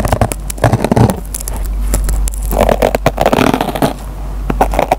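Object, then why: Foam kitchen sponge with nylon scouring pad. A metal pen tip scratches and plucks the fibers of a dry yellow foam kitchen sponge's green nylon scouring pad. The result is a dense run of sharp, crackly scrapes and snaps over a steady low hum, with brief quieter stretches between bursts.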